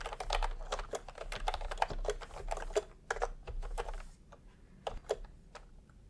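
Bare fingertips of both hands type fast on a full-size pastel plastic retro keyboard with round plastic typewriter-style keycaps, resting on white fabric. Crisp, short clicky key presses with a mid tone around 860 Hz come in a dense run for about four seconds, then thin out into sparser, quieter taps with a few sharp louder presses near the end.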